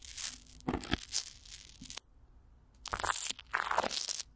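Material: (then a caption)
Plastic film. Fingertips and long nails scratch and tap clear plastic wrap with Vaseline stretched over a hollow microphone grille, first with one hand and then with both. Bright, crinkly rustling and crunching bursts fill the first two seconds. After a near-silent pause, a second run of scratchy crackling returns.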